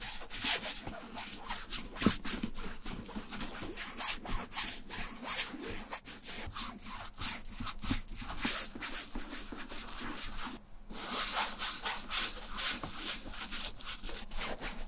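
A wooden-handled bristle brush scrubs back and forth across a beige waxed cotton canvas tote with brown leather trim, lying flat and empty. The clip is a steady run of rough, bright scratchy strokes with a low rumble beneath, broken by a brief pause near the eleven-second mark.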